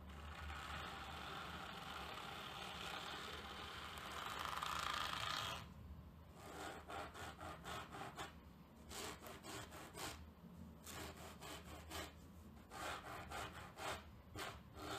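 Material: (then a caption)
Cotton terry. A large tortoiseshell plastic comb, held flat with its teeth down, is dragged by the fingertips across a grey terry towel on a table in slow scratching strokes. A steady, bright, raspy scratch runs for about five seconds and swells louder just before it stops. It is followed by a series of shorter, separate rubbing strokes with brief pauses between them.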